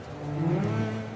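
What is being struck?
Nothing is struck.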